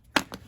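An old, age-hardened rubber fuel hose from a 1994 Honda Magna 750 (VF750C) is tapped or flexed, giving two short, dry clicks that sound like plastic rather than rubber. The first click is louder than the second. The hose is worn out and gets replaced with new hose.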